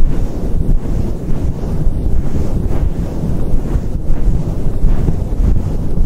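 A fluffy synthetic faux fur microphone windscreen is slowly cupped, stroked and rubbed by fingers and palm. The result is a continuous, deep, muffled rumble with soft brushing swells, almost all of its energy in the low end and nothing bright above it.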